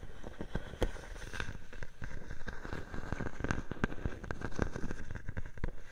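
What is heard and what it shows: A clear plastic bubble wrap sheet draped over a microphone is scratched and tapped by long painted nails. Dense, crackly taps and scratches sound throughout, each one short and dry, with a dull, bassy thump and a light crinkly rustle on top.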